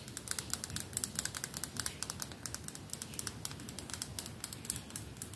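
Fingertips and nails tap quickly on the flat, red lacquered back of a solid wooden hairbrush held in front of a lav mic. The result is a fast, irregular run of short, dry, bright clicks, each dying away almost at once, over a faint low rumble.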